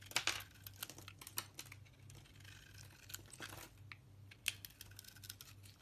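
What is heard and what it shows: A solid white soap bar with a red outer layer is held in the hand while a knife blade peels and shaves flakes from it. Quick, dry, bright scraping and crisp crackling cuts come in irregular bursts, with a few sharper snaps standing out. A low steady hum sits underneath.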